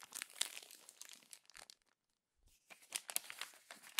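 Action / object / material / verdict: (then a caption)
scrape / glossy paper magazine pages / paper / none. Fingertips and long nails crumple, rub and press the thin pages of a glossy paper magazine, making bright, crackling crinkles. The dense crackle runs for about a second and a half and falls to near silence around the two-second mark. It then resumes in a second burst of crisp crumpling that lasts until the end.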